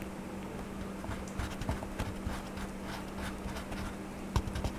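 A blue wax crayon is scratched over a paper coloring book page on a table as a hand colors. A steady, soft, dry scratching runs throughout, with brief brighter strokes, a low constant hum underneath, and a sharper tap near the end.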